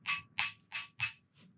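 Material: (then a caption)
Quartzite. A reddish, layered metamorphic rock, probably recrystallized sandstone (quartzite), is tapped four times. Each tap gives a short, bright, high-pitched ring, and a faint fifth tick follows. The high ring suggests the rock has been heavily recrystallized.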